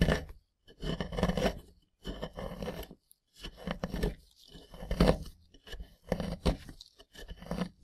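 A gloved hand scrapes and chips at a rectangular solid plaster block with embedded yellow plastic bones, using a small pointed wooden or plastic scraper, and crumbs break off. Short bursts of dry, crunchy scraping come in clusters separated by brief silences, with a low, grainy body and little high-end.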